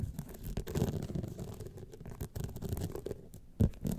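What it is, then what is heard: Rhinestone-studded clutch wallet. Long painted nails from both hands scratch a small, rigid gold clutch wallet covered in a grid of rhinestones, standing upright. The result is a dense run of quick, dull scratching and tapping, mostly low, with a sharper, louder scrape near the end.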